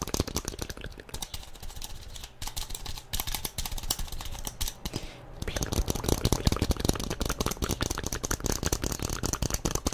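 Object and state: Hollow plastic toy figure.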